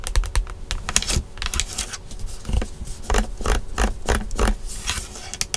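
Long nails tap and scratch quickly on the black, hollow molded plastic airbag cover in the center of a Tesla steering wheel. A rapid, uneven run of short, dry clicks and scratches rises over a hollow low thump, with each tap dying away almost instantly.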